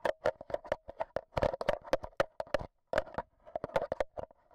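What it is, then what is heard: Metal microphone grille tapped with batteries. A black Zoom H1n recorder held in hand has its metal mesh microphone head tapped by fingers wearing AA batteries as long nails. Quick, close, dry clicks and taps come in an uneven rapid stream, each with a short ringing tone around 550 Hz and a bright crack on top, with a brief silent pause partway through.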